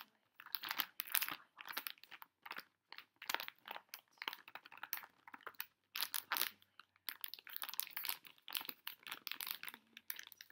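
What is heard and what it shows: A pink Pocky plastic foil snack pouch stands upright on a table while fingertips and long nails tap and crinkle its top and sides. Quick bursts of bright, crisp crackling come in uneven clusters with short pauses between them, each crinkle dying away almost instantly and carrying no low-end weight.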